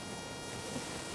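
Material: Nothing is struck.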